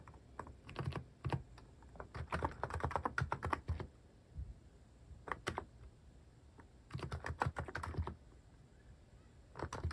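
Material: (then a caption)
Plastic. Fingertips type on a cream mechanical keyboard fitted with sculpted plastic cat and paw keycaps. Rapid bursts of short, dry keystrokes clack with a deep, thocky body, separated by brief pauses. Each press dies away almost instantly.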